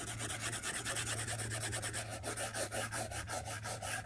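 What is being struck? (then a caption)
Plastic stylus tip on a glass tablet screen. The hard plastic tip of a white stylus moves in drawing strokes across the large, flat, solid glass screen of an iPad tablet lying on a desk. It makes a continuous scratching rub that swells and dips with each stroke. A bright, raspy texture runs over a steady low hum.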